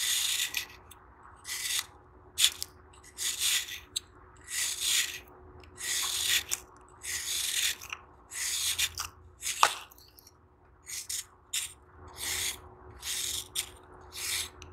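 An oval, solid, crumbly dry sand-cement block held in one hand is shaved and scraped with a knife tip, letting loose sand trickle down into a tub. The result is a series of short, dry, bright rasping strokes separated by brief pauses, with one sharper click partway through and almost no low end.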